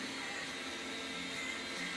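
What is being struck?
Nothing is struck.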